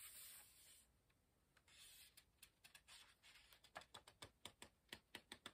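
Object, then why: Paper pages of a hardcover book. Soft, airy paper rustle, then a run of quick crisp ticks as fingertips rub and lift book pages.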